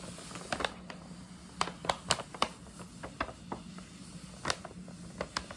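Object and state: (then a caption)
Paper gift bag. Long nails tap, scratch and rub the front panel of a hollow printed paper gift bag with a scalloped rim, giving twelve sharp, bright taps among soft crinkly scratching. A faint low steady hum runs underneath throughout.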